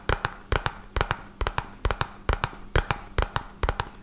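A small, hollow, red-and-white printed cardboard medicine box is held in one hand and tapped rapidly on its top and sides with the fingertips of the other hand. Eighteen short, dry taps land mostly in quick pairs, each with a dull low thump and a brief papery click. Every tap dies away almost at once.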